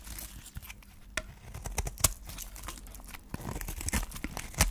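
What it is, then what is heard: Dry soap bar scraped with a blade. A solid white dry soap bar with a pink wrapper edge is held in the hand and scraped and cut with a flat metal blade into flakes. Dry, crisp scraping and crunchy tearing sounds come in a series of short, sharp cracks with bright crackle over a low rumble, leaving flakes shaved off the bar.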